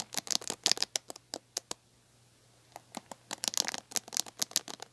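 Long painted nails scratch and pluck the ball-tipped plastic bristles of a large red plastic paddle hairbrush with a black cushion, held by the handle. Crisp, bright clicks and ticks come in quick clusters, pause for about a second over a faint steady low hum, then return in a denser run.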